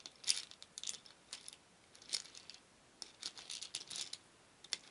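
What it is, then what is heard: Wooden beads stirred in a wooden bowl. A wooden spoon stirs a shallow wooden bowl full of many small painted wooden beads, so they rattle against each other and the bowl. Quiet, irregular bursts of bright, clicky rattling come and go. Each click is very short, with almost nothing in the low end.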